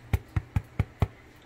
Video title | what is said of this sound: Pains Maisons de A à Z | il est bien cuit vous l'entendez quand ça sonne creux